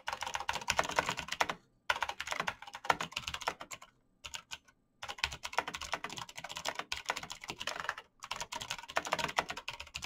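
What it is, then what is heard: Plastic mechanical keyboard. Fingertips in fingerless knit gloves type fast on a black plastic mechanical gaming keyboard with clicky green switches, backlit keys and a hollow case. Bursts of rapid, sharp, bright clicks with very short decay come in runs, broken by brief pauses around 1.7, 4 and 8 seconds.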